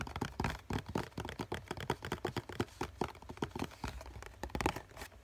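A hollow COCON cardboard tissue box is tapped with fingertips on the top and side, then on the bottom face. About 28 quick, dull, hollow taps sound in an uneven rhythm, each dying away almost instantly with a low thump and a slight papery crackle.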